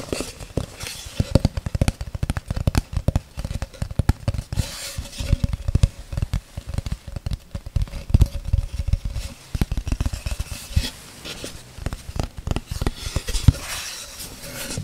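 A thin, solid, flat light-wood oval tray or paddle with a white rim and cut-out handle holes is held close in front of the mic and tapped rapidly with long red acrylic nails. The dense stream of short, dry taps is mostly low, hollow thuds with quick clicky edges. A faint steady tone hums underneath for most of the clip.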